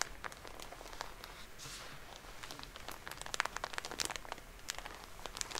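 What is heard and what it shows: A full Shiseido soft plastic cotton pad pack is crinkled, squeezed and scratched with long polished nails. It makes a quiet, steady bed of bright crackling and crinkling, dotted with many sharp, dry ticks and scratches that die away instantly.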